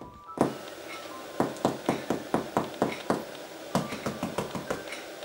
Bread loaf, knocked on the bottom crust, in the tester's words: Als je op de bodem van het brood klopt en het klinkt hol, beteken dat je brood goed gaar is